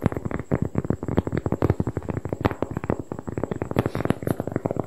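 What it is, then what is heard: Cork board, tapped. A large, thin, flat round cork board is held close to the microphone and tapped and scratched quickly with fingertips and long painted nails. The result is a rapid, uneven string of dull, dry knocks, heavy in the low end with a soft scratchy texture between them. Each tap dies away instantly, with no ring.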